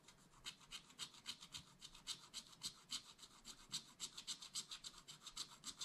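A wooden stylus scratches back and forth across a black coated scratch art paper page to fill in a mug shape. About 28 quick, fairly even strokes make a dry, bright rasping sound with almost no low end, each stroke stopping short.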